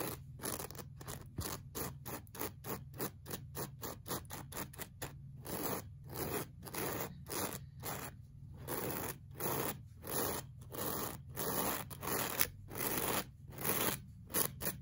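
A pink plastic-bristle brush is dragged in fast scraping strokes across a solid, flat beige looped-pile woven rug. The result is a quick, uneven train of short, dry, bristly scratches with a bright hiss on top and a faint low rumble underneath. The strokes grow louder and more distinct in the second half.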